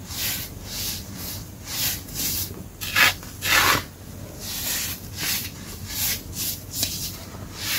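Bare hands with painted nails squeeze, crumble and rub handfuls of a large loose pile of green-dyed baking soda powder on a dark surface. The result is a steady run of soft, gritty rasping swells with a bright, hissy texture. Two louder, fuller crunches stand out near the middle.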